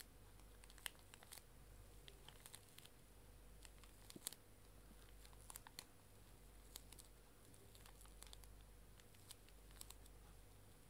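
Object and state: Plastic-wrapped tissue pack crinkled and scratched.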